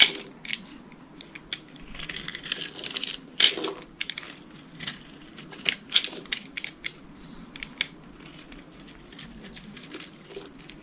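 A utility knife scrapes thin curls and shavings off the surface of a solid, hand-sized green bar of dry soap held in one hand. The sound is a series of crisp, bright, crackly scrapes in irregular bursts, with a few louder strokes standing out over a quiet background.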